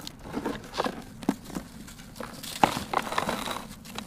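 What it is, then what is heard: Dry sand-cement block crumbling. Bare fingers and palms squeeze and crumble a hand-sized, solid, dry, grey sand-cement chunk held over sandy powder in a turquoise plastic basin. A quiet run of dry, gritty crunches and short crackling bursts is heard, with a few sharper snaps standing out. The chunk breaks down into grinding gritty pieces and clouds of dust.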